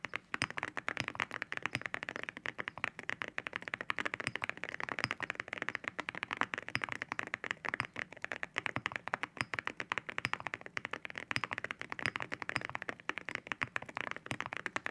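Fingertips type steadily on a white mechanical keyboard with ceramic keycaps resting on a white desk. The result is a dense stream of short, bright, clacky taps with very little low end and almost no ring.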